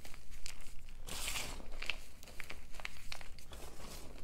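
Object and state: Crumbling gym chalk powder.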